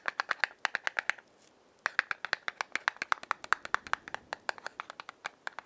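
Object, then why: Small cardboard matchbox tapped and scratched with fingernails. A small, closed yellow cardboard matchbox is held in the hand while long fingernails rub its striking strip, then tap and scratch its printed front face. Rapid, dry, crisp clicks and scratches with a bright edge follow one another in quick bursts, with a brief pause of about three-quarters of a second after the first second. Each tap is sharp and dies away instantly with no ring.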